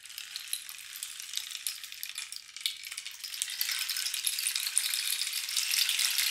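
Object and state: Cactus wood rain stick.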